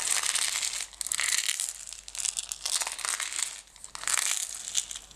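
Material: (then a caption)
Plastic. Long nails scratch a closed clear plastic jar full of green decorative stones, which has a label and is being tilted. The result is a bright, crinkly scratching and gritty rustle that comes in dense bursts with brief quieter dips, with almost no low end.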